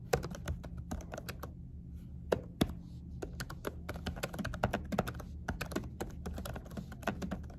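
Both hands type on a laptop keyboard fitted with a dark silicone cover, with fingertips and short nails tapping the keys. A quick, irregular run of soft, muted clicks and dull taps sits over a steady low hum, each keystroke short and dry with almost no ring.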